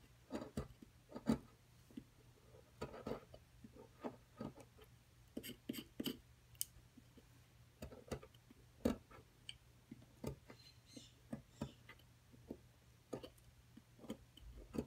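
A wooden-handled metal chisel chips and scrapes at a solid plaster dinosaur-nest excavation block, with dust on the table. About 23 quiet, dry, sharp ticks and scratches come at irregular intervals, each dying away almost at once, over a faint steady low hum.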